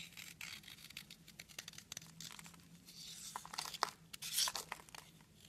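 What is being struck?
Soap bar.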